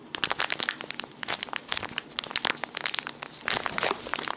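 A small brown Loumidis Papagalos ground-coffee packet, foil-laminated and partly filled, is crumpled and crinkled in the hands with the fingertips. It makes a steady stream of bright, crisp crackles and crinkles, dense and high-pitched with almost no low end, swelling in bursts throughout.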